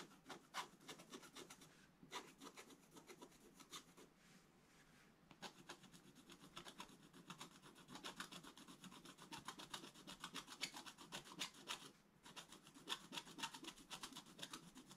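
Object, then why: Black-coated scratch-art paper page scratched with a wooden stylus. A pointed wooden stylus scratches a black-coated scratch-art paper page in a bound book with rapid, fast-repeating strokes. The result is dry, bright, raspy scraping with brief pauses near 4 and 12 seconds.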